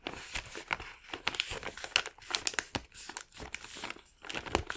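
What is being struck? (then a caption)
Thin kraft paper bag. Fingertips of both hands fold and rub the top flap of a small, empty, thin and hollow brown kraft paper bag. The result is a continuous run of dry, bright paper crinkling with many sharp, quick crackles and short pauses between handlings. There is very little low end, and each crackle stops almost instantly.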